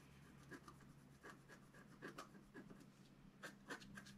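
A wooden stylus scratches the coating of a flat, thin, black-coated scratch art sheet, making about ten short, quiet, dry scraping strokes at an uneven pace over a steady low hum. The stylus is briefly lifted from the sheet at the end.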